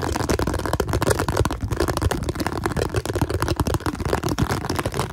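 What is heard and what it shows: A round, hollow, translucent blue plastic container held in both hands is rapidly tapped and scratched with fingertips and nails. The result is a dense, continuous stream of quick, dry taps and scratchy rattles with a hollow, low-heavy knock. Each hit dies away almost instantly.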